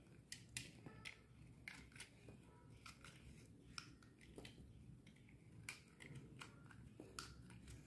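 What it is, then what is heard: Dry bar soap being shaved. A solid purple bar of dry soap, held in the palm, is shaved into thin curls with a metal utility knife blade. Each stroke gives a short, crisp, bright scrape over a steady low rumble, in an uneven series of quick cuts.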